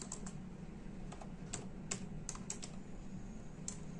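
Both hands type with their fingertips on the hollow plastic keys of a full-size black-and-silver plastic computer keyboard resting on a desk. The result is a quiet run of short, bright, irregular key clicks over a steady low hum.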